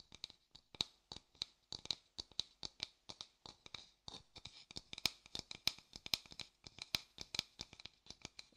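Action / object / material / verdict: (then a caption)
tap / wooden bowl / wood / none. An empty, light-coloured hollow wooden bowl is held up and tapped and scratched with a thin wooden stick and fingers. The result is a quick, uneven series of dozens of short, dry, high clicks and scratches that stop almost instantly, with almost no low end.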